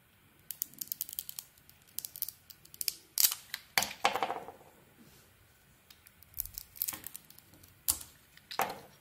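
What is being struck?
Bar of soap.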